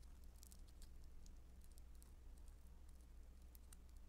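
Blue beaded foam modeling dough (Play-Doh Foam), soft and solid, is pinched, torn into small pieces and squeezed with fingertips and long nails. Quiet, steady crackling and patter ticks over a constant low hum, with bright flicks scattered throughout.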